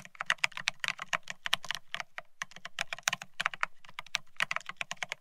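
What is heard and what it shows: Rapid two-handed fingertip typing on a Bear65 mechanical keyboard with blank white matte ceramic Cerakey keycaps on a steel plate, resting on white cloth. Dense, crisp, high clacks come in quick uneven bursts, each with a sharp attack and almost no ring. Brief pauses break the runs.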